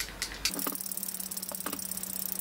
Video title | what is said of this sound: Je teste le premier fond de teint de Benefit 💄 Hello Happy 😀 | je sais pas si vous entendez mais il y a une petite bille à l'intérieur